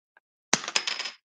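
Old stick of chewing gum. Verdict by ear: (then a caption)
Stale. A stale, decades-old stick of chewing gum from a 1989 Topps baseball card pack is dropped and lands with a sharp, bright clatter, followed by several quick rattling bounces. It sounds like hard plastic, showing the gum has gone rock-hard and stale.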